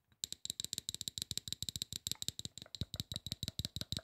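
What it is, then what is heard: Aluminum spray bottle tapped with nails. Fingernails tap rapidly on the base and side of a hollow, silver aluminum spray bottle. The many quick, dry clicks ring bright and metallic, each dying almost instantly, with a faint low thump under some strikes.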